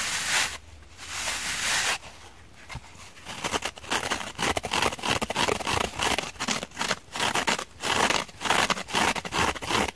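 Long painted fingernails scratch and press the fibrous scour side and porous foam edge of a palm-sized purple cellulose/foam kitchen sponge, lightly dusted with cornstarch and held over a glass bowl. Two broad, hissy rubbing bursts give way to a quieter pause, then dense, rapid, bright scratching and crisp rasping scrapes that continue to the end.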